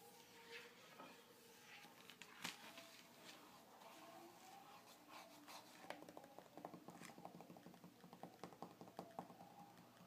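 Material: Glossy paper.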